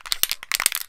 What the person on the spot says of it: shake it until you hear a little ball inside the can